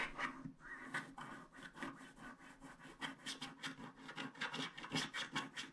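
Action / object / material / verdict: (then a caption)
scrape / wax-coated paper scratch art card scraped with a wooden stick / wax, paper / none. A wooden stick scrapes the black wax coating of a small, flat paper scratch art card in short strokes. The result is a quick, uneven series of dry, bright scratching rasps, each stroke brief and close together.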